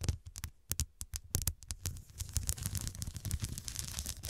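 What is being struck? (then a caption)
Pillow with glass studs. Long nails tap and scratch across the square glass studs on top of a soft pillow. For the first two seconds there are sharp, separate clicks with a low thump under each. They then turn into a denser, continuous scratchy rustle with bright, crisp edges.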